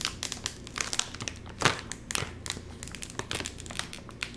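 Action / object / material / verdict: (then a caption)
scrape / metallized plastic chip bag / metallized plastic / none. Fingertips squeeze, crinkle and pull at the top seam of a full, sealed Doritos chip bag made of crinkly metallized plastic film. This produces a dense run of sharp, bright crinkles and crackles with quick bursts throughout, and one louder crunch near the middle.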